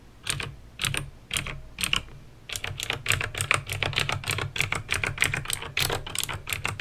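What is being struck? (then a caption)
Plastic mechanical keyboard with clicky switches. Fingertips with painted nails type on a backlit plastic mechanical keyboard with clicky green switches. A few spaced keystrokes give way to a fast, steady run of typing, each press a sharp, bright click over a soft low thud that dies away almost instantly.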